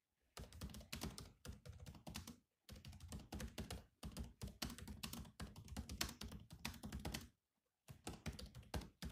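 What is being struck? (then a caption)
Plastic laptop keyboard. Fingertips type continuously on the black plastic chiclet keys of a grey laptop, giving quick, clicky taps with a low, thuddy body. The typing runs in bursts separated by brief pauses, and each keystroke dies away almost instantly.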